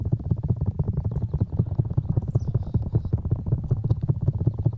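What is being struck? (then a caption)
Rubber ear piece of a binaural microphone. Fingertips of both hands rub and scratch the black rubber ear pieces of a 3Dio binaural microphone. The result is a close, muffled run of rapid, uneven thumps and scuffs, deep and boomy with almost no high end.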